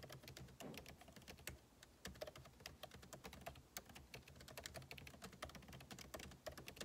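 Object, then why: Laptop keyboard, plastic keys in aluminium body. Fingertips type rapidly on the plastic keycaps of a backlit MacBook Pro keyboard set in an aluminum body. The result is a quiet, steady stream of short, crisp clicks with bright high edges and a soft low thud under each press, each dying away almost instantly.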